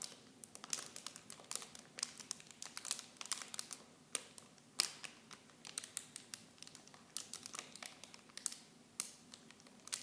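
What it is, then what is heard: Plastic film packaging. Clear plastic film wrapping small bottles is crinkled with fingertips and long nails. The result is a quiet, steady run of sharp, bright crackles and rustles with no low end, each snap dying away almost instantly.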